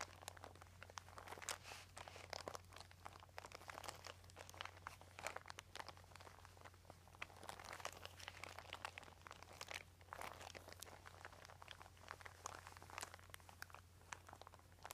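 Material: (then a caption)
Plastic. Fingertips rub and crinkle a flat, thin white embossed plastic sheet with a dotted texture lying on carpet. The result is a quiet, continuous stream of dense, crunchy crinkles and sharp little snaps with bright highs, over a steady low hum.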